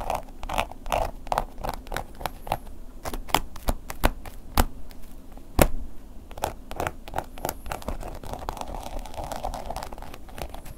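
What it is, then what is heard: Textured leather wallet scratched. A wooden ear pick tip scratches along the textured surface of a black woven-embossed leather long wallet lying flat. The sound is a steady run of short, dry scratching strokes with a mid-range rasp, each dying away almost instantly, with a few sharper, louder ticks near the middle.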